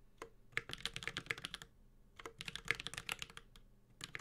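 A Space65 Cybervoyager 65% mechanical keyboard with a metal case, Holy Panda switches and ABS plastic keycaps is typed on continuously with the fingertips of both hands. Two bursts of quick, bright, clacky keystrokes with very short decay are separated by a brief pause, over a faint low hum.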